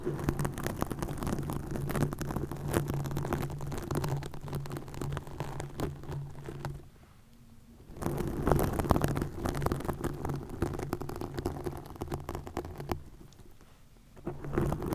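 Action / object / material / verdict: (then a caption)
scrape / plastic mesh netting over a microphone / plastic / none. Long nails scratch green plastic mesh netting stretched over a microphone, making a dense, uneven crackling scrape with a heavy low rumble. The scratching briefly drops to near silence around 7 to 8 seconds and again around 13 to 14 seconds before resuming.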